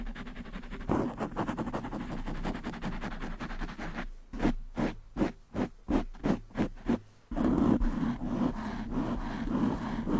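Long manicured nails scratch fast over a black foam windscreen on a desktop microphone, producing dense, muffled, low-to-mid scratchy rustling. Midway the scratching breaks into separate rhythmic strokes, then returns to a louder continuous scrubbing.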